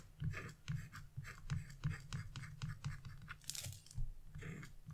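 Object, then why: Scratch-art coated paper sheet. A wood-handled V-gouge chisel, held in fingers with blue nails, repeatedly scrapes thin lines into a flat, black-coated scratch-off art paper page. The result is a steady run of short, dry scratching strokes with a soft low thump under each one and a light crisp rasp above. One longer, brighter scrape stands out near the end.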